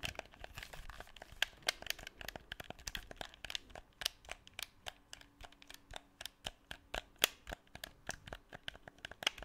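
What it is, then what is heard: Plastic game controller. Fingertips click the buttons of a black, hollow plastic PS4 DualShock 4 controller, d-pad visible, and tap and rub its plastic shell close to the microphone. Dozens of sharp, bright, dry clicks and taps come in an irregular stream over a faint rustle, with almost no low end and no ring after each hit.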